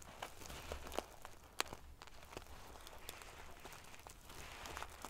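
Fingertips and long nails pinch, scratch and ruffle the sequins near the top edge of a soft pillow covered in silver metal sequins. The result is a quiet, steady bed of bright, prickly scratching and rustling, broken by a few sharp little metallic clicks and ticks.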